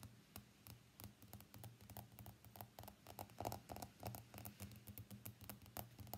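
An iPhone X is first held on its edge, then laid face up, as fingernails tap its frame and then its glass screen. Quick, light, irregular taps click and patter with short, bright transients, over a faint steady low hum.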